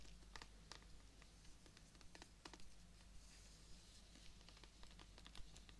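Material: Plant stem.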